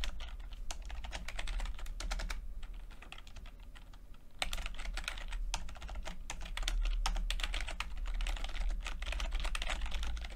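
Fingertips tap the plastic keycaps of a backlit chiclet computer keyboard while typing, producing rapid, irregular, short bright clicks over a steady low rumble. The typing thins out for a stretch partway through, then resumes at a brisk pace until the end.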